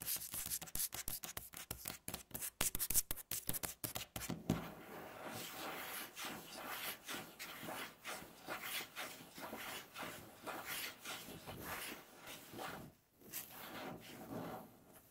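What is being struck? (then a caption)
Wooden tabletop. Long natural fingernails work on a solid, light wooden tabletop, starting with a quick run of sharp, dry taps for about four seconds. The sound then shifts into continuous rasping scratches and scrapes across the wood that swell and fade in uneven strokes, with one brief pause near the end.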